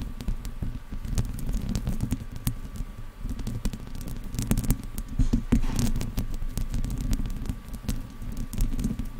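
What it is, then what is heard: Metal microphone grille being scratched. Long, dark-painted nails on both hands scratch the hollow metal mesh grille of a silver Blue Yeti-style condenser microphone, with headphones resting around the mic untouched. The result is a steady, dense patter of rapid scratchy clicks and rustles. The sound is heavy in low, muffled rumble with very little bright top.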